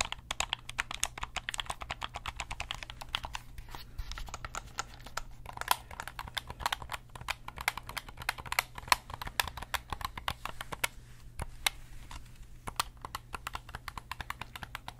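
A hand-sized, hollow black plastic gamepad has its face buttons and sticks pressed and clicked rapidly with the thumbs and fingertips. The result is a dense, uneven stream of short, sharp, bright clicks with almost no ring, running over a steady low hum for the whole clip.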